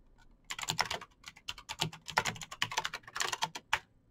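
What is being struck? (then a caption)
Plastic mechanical keyboard. Fingertips type fast on a Razer BlackWidow backlit plastic mechanical keyboard with clicky green switches. A rapid, uneven run of sharp, bright clicks and taps with very short decay fills the clip.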